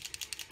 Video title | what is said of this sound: Divas doing a makeover | you got to shake it you hear that there's a little ball in there that's what mixes it up